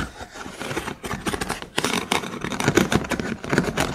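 Fingers and nails scratch and strum across the ribs of a dimly lit hollow cylinder holder made of thin vertical wooden sticks. The result is a dense run of dry, clicking rattles and scrapes with bright edges and very short ring, swelling in repeated bursts that grow louder toward the end.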